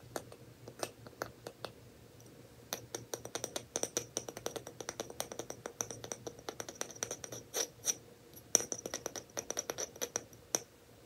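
A lid on a glass jar, the glass not brown, is tapped and scratched in quick, irregular bursts. Each tap is a dry, bright click with a faint high ring that dies away almost at once, with light scratching between the taps.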